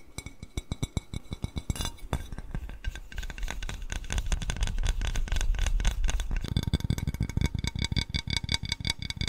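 A small white glazed ceramic cat-shaped bowl, hollow and empty, is tilted and tapped on its inside and rim with fingertips and nails. The result is a rapid, uneven run of short, dull taps with soft low thumps, layered with faint, steady clinking tones. Around the middle the tapping grows louder, and near the end it becomes quicker and brighter.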